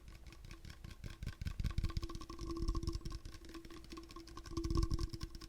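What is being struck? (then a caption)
Hard plastic water bottle. A hard plastic water bottle is tapped up close, producing a rapid, dense patter of dull, low-heavy taps. Faint steady tones ring underneath. The tapping swells louder around 2, 2.6 and 4.8 seconds before easing off again.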